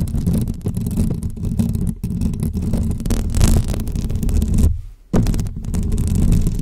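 Long fake press-on nails scratch directly on the hollow metal mesh grille of a pink microphone. The result is a dense, continuous, deep scraping rumble with rapid textured strokes, which briefly drops almost to silence before the scratching resumes.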